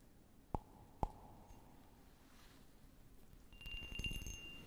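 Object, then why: Small patterned glass cup. A small, clear, patterned glass cup, hollow and empty, is tapped with fingernails close to the mic. Two sharp clinks ring out with a brief tone near 900 Hz. Near the end, a denser, rougher patter of taps follows, with a thin steady high tone over a low rumbling background.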